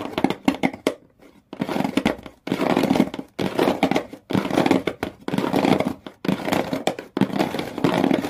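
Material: Cardboard.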